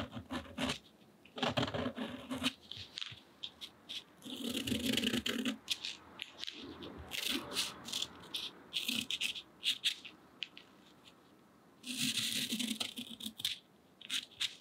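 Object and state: Cotton rag paper.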